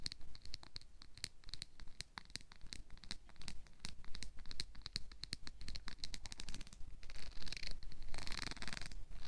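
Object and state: Plastic comb.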